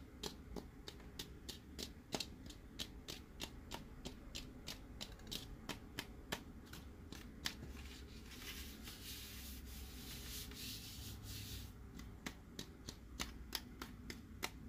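Fingertips rub and scratch the surface of a hollow, hard plastic, spherical BB-8 sipper cup held in both hands. A steady run of sharp, dry clicks and taps plays over a low hum, with a stretch of bright, hissy scratching in the middle before the clicks return.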